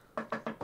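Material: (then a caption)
Wood. A wooden surface is knocked four times in quick succession, each rap a short, dry, hollow knock with a warm midrange body that dies away almost at once. The taps are evenly spaced and fairly quiet.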